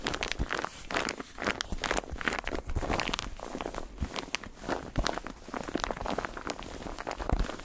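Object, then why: Padded foam bath pillow with textured surface. Fingertips and nails tap and scratch a white padded bathtub pillow made of textured foam. The result is a steady flurry of quick, dry tapping and scratchy, crinkling rasps with soft low thumps underneath. Each sound stops almost instantly.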